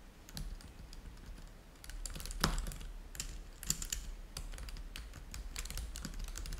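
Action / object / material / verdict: tap / plastic laptop keyboard / plastic / none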